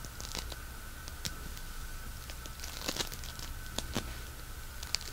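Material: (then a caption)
Polystyrene beads. A palm-sized lump of solid pink polystyrene bead floam is kneaded, pulled apart and crunched between fingertips and thumbs. It gives a soft, steady bed of fine crackling and tearing with sharp, bright bead pops scattered throughout. A faint steady tone near 1.4 kHz and a low rumble sit underneath.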